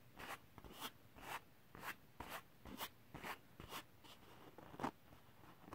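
Fingertips and short nails scratch across the textured surface of a large, thin, flat sheet of holographic silver glitter cardstock held in the lap. About ten short, dry, scratchy bursts come at an uneven pace, each rasping brightly across a wide range with a quick, hollow rustle. Brief quiet gaps fall between the strokes.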